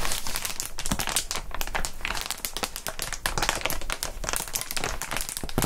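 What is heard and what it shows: A clear plastic air column cushion wrap, a packaging sheet of air tubes, is squeezed and crushed between gloved fingers. A dense, continuous stream of bright crinkling and crackling is heard as the tubes deflate.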